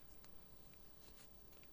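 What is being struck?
Nothing is struck.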